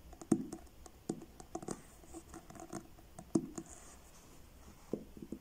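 Fingertips slowly tap the blue card cover of a solid paperback book, making soft, dull taps with a low-mid body and a quick, dry decay, spaced out with quieter brushing touches between them. Near the end the book is tilted.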